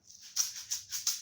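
A homemade shaker, a container filled with rice, is shaken in a few quick strokes. Each stroke gives a bright, hissy rattle of grains concentrated in the high frequencies, with almost no low end.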